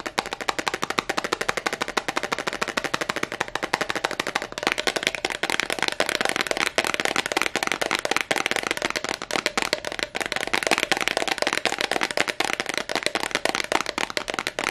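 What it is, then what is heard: Glass perfume bottle tapped with nails. A small, clear, heart-shaped glass perfume bottle with a yellow cap, apparently empty, is held in both hands and tapped and scratched fast with long acrylic nails. The result is a dense, unbroken stream of sharp, bright clicks and scratchy ticks with a glassy ring near 920 Hz and almost no low end, crackling like tiny firecrackers.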